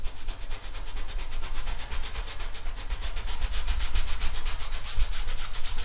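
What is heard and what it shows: A thin paintbrush rubs in short, quick strokes across a large stretched painted canvas on an easel, taut fabric over a wooden frame. The result is a steady, rhythmic scratchy swish with bright pulses from each stroke over a constant deep low hum.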